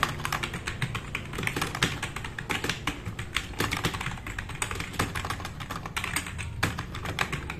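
Fingertips of both hands type fast on a black, RGB-backlit tenkeyless plastic mechanical keyboard with plastic keycaps resting on a wooden desk. A rapid, continuous stream of sharp, bright clicks sits over a low thudding from the keys bottoming out, each stroke dying away almost instantly.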